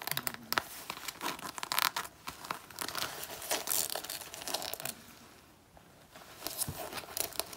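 Long natural nails scratch and claw at the sleeve and chest of an already torn black faux (PU) leather jacket being worn on the body. The result is a dense, bright stream of rasping, crinkling scrapes with sharp tearing-like bursts and a brief quieter stretch near the end.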